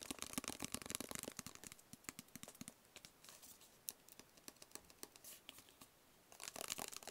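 Fingertips and nails tap a small, hollow, rigid black cardboard box with printed lettering, making quick, dry, irregular clicks. Dense flurries of taps at the start and end frame a sparser, quieter stretch in the middle.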